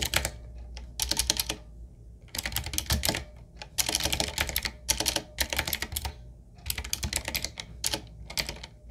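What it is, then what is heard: Mechanical keyboard with round plastic keycaps. A full-size 7Keys retro mechanical typewriter-style keyboard, with round plastic keycaps on a dark metal plate in a solid wooden-looking frame, is typed on with the fingertips of both hands. Rapid, bright clacking keystrokes come in bursts separated by brief pauses, with a light low thud under each press and almost no ring after it.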